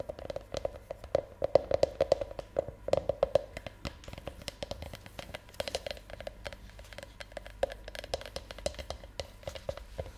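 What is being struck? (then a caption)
Milk chocolate Easter egg half-shell. Long nails tap rapidly on the outer surface of a hand-sized, empty half shell of a hollow milk chocolate Easter egg held in one hand. Dozens of quick, dry clicks sound in uneven bursts over a faint steady hum, each dying away almost instantly. A hollow mid-pitched tone sits under the taps, strongest in the first few seconds.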